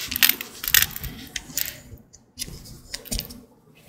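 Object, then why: Bar of soap cut with a blade. A green-handled utility blade carves into a dry, solid green Old Spice bar soap. Crisp, bright scraping and crackling bursts come in irregular strokes, with short quiet gaps between cuts.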